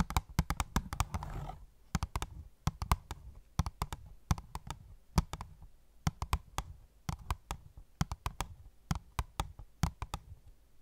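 Fingernails tap rapidly on the clear plastic window of an opened, hollow cardboard phone case box. The taps are sharp, dry clicks with a low, hollow thump beneath them, and each dies away almost at once. A brief rustling handling noise comes in the first second and a half, and the tapping goes on in uneven bursts to the end.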